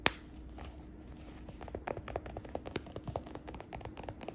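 Long nails and fingertips tap and scratch the flap and stitched edges of a hollow, medium brown smooth leather (or faux leather) shoulder bag held in the hands. After one sharp click at the start, quick light clicks and soft scratchy rustles follow over a faint steady low hum.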